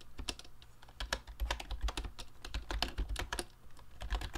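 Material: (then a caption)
Plastic. Fingertips type rapidly on a mint-green YUNZII Actto B303 retro typewriter-style Bluetooth mechanical keyboard with round plastic keycaps and a hollow plastic case, with a tablet resting in its stand. The result is a quick, uneven stream of short, bright plastic clacks over a low, hollow thump, each tap dying away almost instantly.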